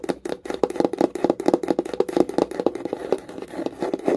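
Long nail tips rapidly tap and scratch along the side and top edge of a small wooden box with visible wood grain. The quick, dry knocks carry a hollow midrange tone around 440 Hz with almost no ring, mixed with brief scratchy rasps between the taps.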